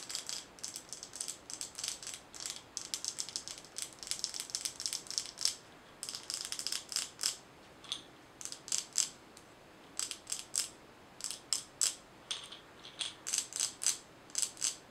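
Long nails tap a glass mason jar with a metal lid, filled with small colorful items, and the jar is shaken so the contents rattle. The result is a steady run of short, bright, high-pitched clicks and rattles with almost no low end, each dying away almost instantly.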